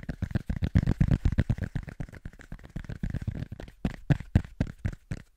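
A small, thick, round cork coaster is held between both hands and tapped quickly with the fingertips. It gives a fast, roughly rhythmic stream of soft, dull, low thuds with no ring, at about four taps per second.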